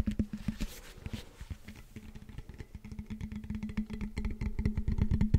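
Fingertips and nails tap and scratch the knobbed foam blocks of a hollow blue foam roller held in both hands. Quick, irregular, dull low thumps mix with soft scratchy brushing over a steady low hum. The tapping grows denser and louder toward the end.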